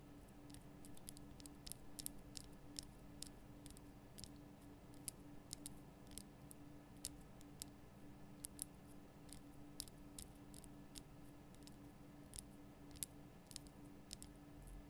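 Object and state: Himalayan salt lamp.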